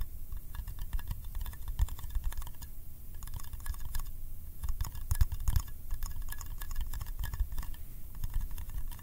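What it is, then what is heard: Metal candy tin. Fingertips tap quickly on the side and lid of a small, round, hollow yellow metal candy tin. The result is a dense, continuous patter of soft, dull thuds with bright, clicky ticks and a faint metallic ring. Each tap dies away almost instantly.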